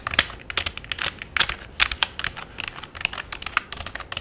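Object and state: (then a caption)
Plastic computer keyboard. Fingertips type on the number pad and main keys of a full-size black plastic keyboard with a hollow body. About two dozen quick, dry, bright clicks and clacks come in an uneven rhythm. Each one stops almost at once, with little low end beneath them.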